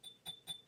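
A small, heavy, well-made ceramic cauldron-shaped mug with a nice finish is tapped four times. Each tap gives a light, bright clink with a high ringing tone near 3.5 kHz that fades quickly.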